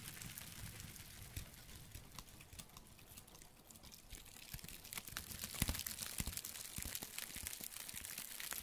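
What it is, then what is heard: Dried tree bark piece. Gloved fingertips crinkle and scratch the flaky surface of a thin, solid, flat, layered piece of light brown dried tree bark, held up and handled close to the microphone. Soft, dense crackles and sharp bright clicks sound over a low rumble. The sound grows louder and busier about halfway through.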